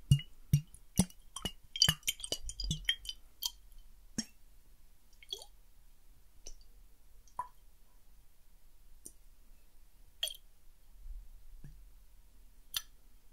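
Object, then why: Small glass bottle partly filled with water. A small clear glass bottle with a silver cap, partly filled with water, is turned from lying on its side to standing upright in front of a microphone. Fingernails and fingertips tap and clink on the glass in a quick, uneven cluster of bright, short clicks, then sparser taps follow. The water sloshes and shifts softly inside between the taps.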